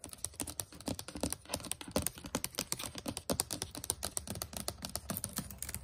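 The plastic chiclet keys of a white HP laptop keyboard are typed quickly with fingertips and nails. The result is a dense stream of short, crisp clicks with a bright, high edge and a light low thud beneath, each tap dying away almost instantly.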